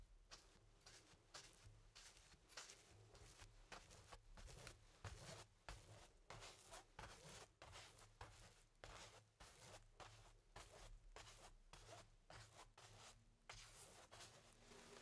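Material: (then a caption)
Cotton canvas. A paintbrush rubs black paint across a medium stretched cotton canvas on an easel, thin fabric over a hollow wooden frame. Repeated scratchy, bristly strokes sweep bright noise across the range over a low hollow undertone, coming in about 25 irregular bursts.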